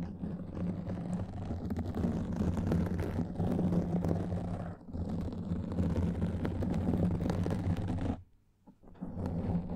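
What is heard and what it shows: Both hands scratch a soft black foam microphone windscreen with long nails, making a dense, continuous rustling scrape with a heavy low, muffled rumble. The scratching pauses briefly just before the five-second mark. It then drops to near silence around eight seconds before resuming.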